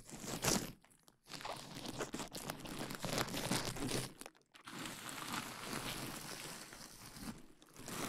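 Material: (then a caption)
Plastic. A large sheet of clear plastic bubble wrap draped over the microphone is squeezed by hands, popping the bubbles. Dense crinkling and crackling snaps with bright, broadband texture fill the clip, broken by brief near-silent pauses around one second and four and a half seconds.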